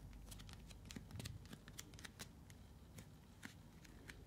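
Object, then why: Partly filled plastic bottle. A partly filled translucent blue plastic container with a snap cap is held and turned while long nails tap and scratch its sides. Quick, sharp clicks and scratches come in a steady irregular stream over a soft low rumble, each tick dying away at once.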